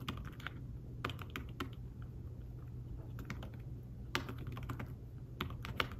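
Fingertips with short nails type on a thin, flat iPad Smart Keyboard-style folio keyboard with dark woven fabric-covered keys. The result is a quiet run of soft, short, bright taps at an uneven pace, over a steady low hum.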